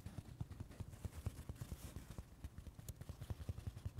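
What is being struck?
Palm-sized open-cell foam sponge on carpet.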